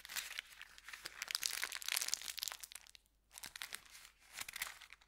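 An empty brown kraft paper bakery bag is scrunched in the hand, then opened and crinkled. It makes dense, bright, crackly crinkling with sharp crunches and almost no low end, pauses briefly near the three-second mark, then resumes in softer bursts.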